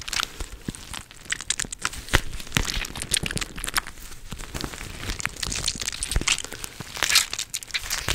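A teal-rimmed clear plastic gel-bead cooling pad is squeezed and scratched with long nails close to the mic. Dense, bright crinkling and crackling rise from it, with quick scratchy clicks and soft squishy pops throughout.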